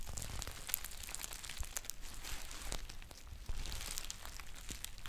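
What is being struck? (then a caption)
Foil tea pouch. Long painted nails scratch the label area of a green foil tea pouch and crinkle it, producing dense, bright crackling and rustling with sharp clicks throughout. A steady low rumble sits underneath the close, continuous crinkle.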